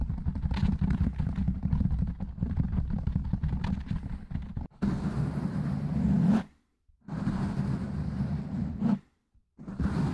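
Fingertips and short nails of both hands rapidly tap and scratch a large, soft, porous black foam windscreen on a metal condenser microphone. For the first few seconds the fast tapping makes dense, muffled, bass-heavy thumps. Then steadier rushing scratching bursts follow, broken by two brief silences.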